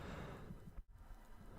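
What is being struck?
Nothing is struck.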